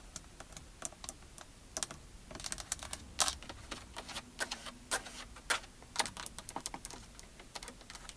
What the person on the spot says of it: lots of plastic sounds on the steering wheel